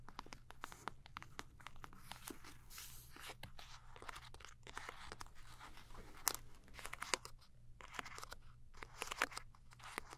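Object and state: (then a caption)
Soft plastic wipes pouch, crinkled and scratched. A full, soft plastic film wipes pouch is squeezed and crinkled by fingers and scratched with long nails. The result is a dense, continuous run of bright crinkles and crackles, broken by sharp clicks and scratchy strokes over a steady low hum.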